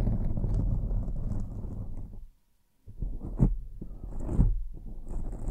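Fingertips and nails of both hands scratch and rub a soft, fist-sized black foam windscreen covering a microphone head, producing a dense, muffled, low rumbling scrape. The rubbing stops for about half a second of near silence, then resumes with brief louder thuds as the foam is pressed.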